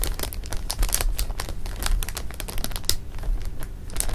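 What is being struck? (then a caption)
Plastic bag of jelly beans. Fingertips press, rub and scratch a full clear plastic bag of jelly beans lying flat on fabric, working the beans through the crinkly film. A steady stream of dense crinkling is broken by many sharp, bright ticks and snaps, over a soft low rumble.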